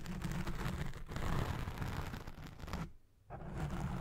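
Long red nails scratch the side of a black foam windscreen on a Blue Yeti Pro microphone while it records, producing a dense, close, muffled rumble of scraping and rustling, mostly deep and low. The scratching runs steadily, drops to near silence for a moment around the three-second mark, then resumes just as thick.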